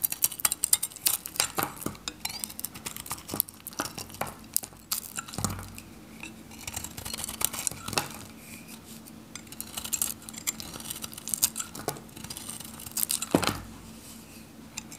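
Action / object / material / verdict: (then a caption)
scrape / coated bar soap cut with a metal knife / soap / none. A solid oval Godrej No.1 bar soap, dry and coated in orange varnish with a yellow interior, is held in the palm and shaved with a metal craft knife. Dense, irregular, crisp scraping clicks and brittle snaps dominate the bright high range, each decaying almost instantly, with occasional louder cuts over a faint steady low hum.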